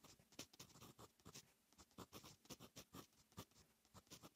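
A fine metal fountain pen nib writes on a lined paper notebook page. It makes quiet, rapid scratching strokes with a bright, papery hiss. Many short scratches come in an irregular rhythm.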